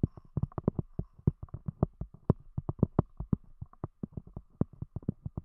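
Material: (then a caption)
Cork. A round, thick solid cork disc covering a microphone is tapped rapidly with the long fingernails of both hands. About thirty short, dull, low-pitched taps land in quick, uneven succession, each dying away at once with no ring and a faint steady hum between them.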